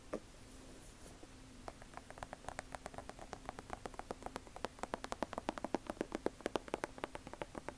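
Long acrylic nails tap and scratch the leather upper of an Air Jordan 1 high-top sneaker with a rubber sole, held up near the mic. After a quiet start with soft scratching, dozens of quick, sharp, irregular clicks build steadily in pace and loudness, each bright and dying out almost instantly, over a faint steady low hum.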